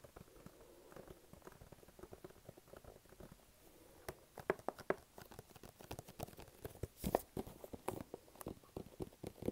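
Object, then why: Small cardboard box. Fingertips tap and stick-pull on the face and then the side edge of a small, flat, hollow, glossy pink-and-black printed cardboard gift box held in both hands. For the first four seconds there is a soft, quiet patter of sticky taps. It then turns into louder, sharper clicks and peeling snaps, with a hollow mid-range tone and bright, dry transients that stop at once.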